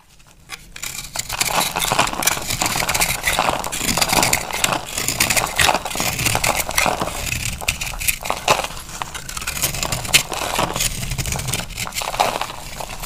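A utility knife blade cuts into a held, dry oval soap bar with a powdery white crust and a green inside. The result is a steady run of dense, bright crunching and crackling scrapes, rising quickly from near silence and staying loud throughout.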